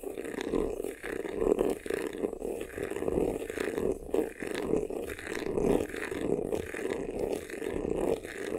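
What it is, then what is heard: Faux leather vanity case, scratched. Fingertips and nails scratch quickly across the front and sides of a hollow, black crocodile-embossed faux leather vanity case. The result is a dense, continuous raspy scratching with a hollow midrange tone, rising and falling in short bursts throughout.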